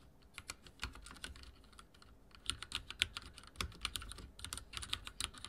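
Fingertips type on a backlit mechanical keyboard with dark plastic keycaps, producing a quick, uneven run of sharp, bright clicks and taps. Each keystroke is short and crisp with almost no ring, over a faint low rumble.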